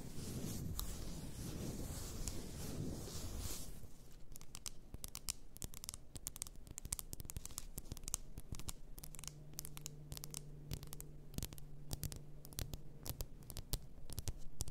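Long nails tap and scratch the sides and shoulders of a large, apparently glass bottle full of pink bath salt. A dense, rustling scratch in the first few seconds gives way to a quick, irregular run of sharp, dry taps that die away almost instantly, over a faint low hum.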